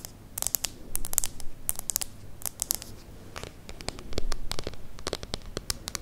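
Long nails scratch and tap the front of a small, solid Kindle e-reader with a plastic body and screen, held close to the microphone. Rapid dry clicks and scratchy scrapes come in quick irregular bursts. A low rumble runs underneath.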